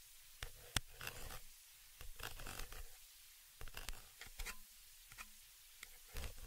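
A thin dark tool scratches the small hollow metal mesh grille of a stereo microphone capsule, staying in contact throughout. Close, dry scraping and scratching bursts come in uneven clusters with a low rumble and bright, crisp edges. Short quiet gaps separate them, and nothing rings on.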